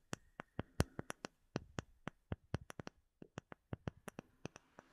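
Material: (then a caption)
Acrylic. Fingertips and short nails tap a flat, solid, clear, hand-sized acrylic plate with embedded bubbles, held close to the microphone. About 24 quiet, sharp, dry taps come in an irregular rhythm with a short pause near the three-second mark. Each tap is a bright click over a soft low thump that dies away almost at once.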